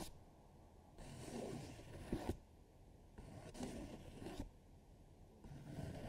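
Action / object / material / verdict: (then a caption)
scrape / thin paper sheet on a table / paper / none. A hand with long nails sweeps, rubs and scratches across a thin paper coloring sheet lying flat on a dark table, with markers idle at the side. Soft, papery scraping strokes come in bursts, each rising and easing off, a few with sharper scratchy edges, over a quiet low background.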